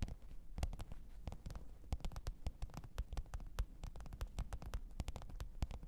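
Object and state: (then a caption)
Faux leather zippered case. Long pointed nails tap and scratch the top of a black, textured faux-leather hard-shell microphone case with a zipper, lying flat on fur. Rapid, irregular dry clicks and taps with very short decay sit over a low, muffled rumble and soft scratching throughout.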